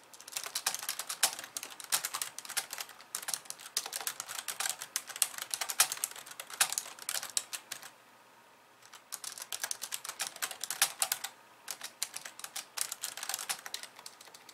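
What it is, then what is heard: Plastic computer keyboard. Long polished nails type rapidly with both hands on a compact pink and white plastic keyboard resting on a wooden desk. Dense runs of bright, sharp plastic clicks and taps with almost no low end stop for about a second near the middle, then resume. A shorter lull follows before the fast clicking picks up again.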